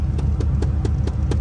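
Repeated knocks on an aftermarket rubber-coated plastic center trim piece around a double-DIN touchscreen in a C5 Corvette dash give short, dull taps over a steady low rumble, with keys rattling faintly. The panel sounds solid rather than cheap and flimsy.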